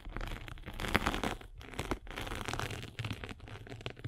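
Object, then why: Foam sanding sponge. A spiked derma roller is rolled across a rectangular abrasive sanding sponge with a blue foam layer. It makes a dense, crinkly, scratchy crackle like tearing or crumpling, with a low rumble underneath and brief pauses between passes.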